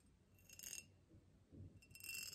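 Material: Glass.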